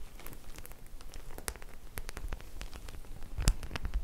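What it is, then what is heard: Studded faux leather clutch bag. Long nails scratch and tap the small metal studs on a white faux leather clutch bag held in both hands. The result is a quiet, continuous run of short, dry clicks and crackles over a low rumble, with a sharper, louder tap near the end.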